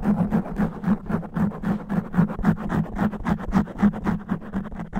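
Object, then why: Foam microphone windscreen. Fingernails scratch fast and roughly across the top and sides of a black foam microphone windscreen. The result is a steady run of dull, muffled rasping strokes with a deep rumbling buzz and little high end.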